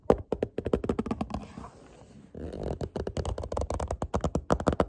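Fingertips tap quickly on the text-covered top face of a small, hollow, printed cardboard product box held close to the camera. The result is a run of dry, hollow, mid-pitched taps that break midway into a quieter rustling scratch, then pick back up.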